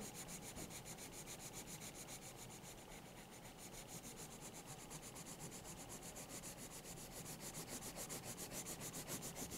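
A green wooden colored pencil, held in the hand, rubs back and forth on the page of a thick paper sketchbook lying open, shading in a letter. It makes a steady, quiet, scratchy rubbing with a bright papery hiss, at about three to four strokes per second. The strokes grow slightly louder toward the end.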